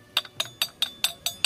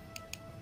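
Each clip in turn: First: iron piece, reference metallic clink. Second: iron-bearing stone, sounds unlike real iron.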